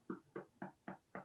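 A freshly baked cinnamon raisin baguette loaf, made in a baguette pan, is knocked on five times. The evenly spaced, short, hollow thumps have a low-mid tone and die away almost at once. The hollow sound shows the bread is baked through.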